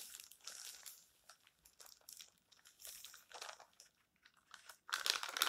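Fingertips turn, rub and crinkle the thin, flexible pages of an open stack of colorful glossy paper magazines on a table, then smooth them flat. Quiet, irregular bursts of crisp, bright paper crinkling and rustling come and go with short pauses between. A louder, sharper crinkle closes the clip.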